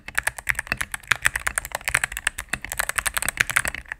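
A mechanical keyboard with all-cream plastic keycaps and a knob, resting on a desk mat, is typed on rapidly with fingertips and long nails. A dense, steady stream of short, crisp clacks and taps with a bright, high edge comes through, each keystroke dying away almost instantly with little low-end thump.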